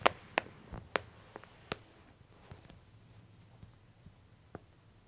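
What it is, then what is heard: Glossy paper catalog pages being pressed and rubbed. A flat palm and long nails press and rub the same open spread of a glossy paper J. Jill women's clothing catalog, while the hands squeeze its bottom edge. Sharp, bright paper crackles and ticks come loudest in the first two seconds, then thin out into sparse, quieter clicks over a very soft background.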